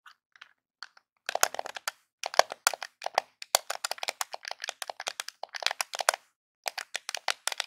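Fingertips and nails tap and scratch along the top edge of a small, hollow, grey plastic Nintendo game controller held in both hands. Rapid bursts of sharp, dry clicks and crackly scrapes come with brief pauses between them. The sound is bright with almost no low end, and each tap dies away almost at once.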